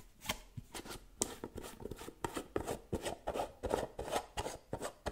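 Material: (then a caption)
Metal. Long painted nails tap quickly on the gold metal lid of a small round white cosmetic jar held in one hand. The result is a fast, uneven run of sharp, dry clicks with a mid-pitched tone and bright edges, each dying away almost at once.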